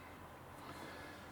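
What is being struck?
Nothing is struck.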